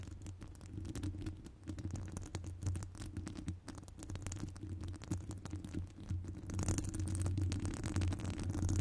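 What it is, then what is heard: Metal microphone mesh grille scratched with nails. Long acrylic nails scratch and tap across the hollow metal wire-mesh grille of a large round microphone with no foam cover. The result is a dense, irregular stream of close, boomy scratching and rapid tapping, dominated by deep low rumble. It grows louder and gains a bright, hissy edge in the last couple of seconds.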